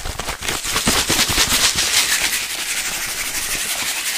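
A clear plastic bottle with a yellow cap, partly filled with blue liquid and sand, is held near the microphone and shaken by hand. Fast, irregular sloshing and gritty rattling form a dense, bright hiss that crackles and stays steady throughout.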